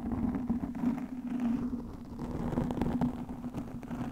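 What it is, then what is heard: Foam microphone windscreen being scratched. Long nails scratch the top and sides of a black, soft porous foam microphone windscreen. The result is a continuous muffled, rustling crackle with a low hum near 240 Hz and almost no high end.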